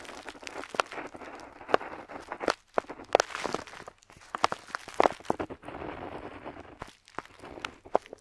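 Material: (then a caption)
Paper. A metal dip pen nib scratches across a flat paper map sheet on a table while drawing a figure. Soft, continuous scratchy strokes are broken by short, sharp ticks and brief pauses, with the sound sitting mostly in the midrange and little low end.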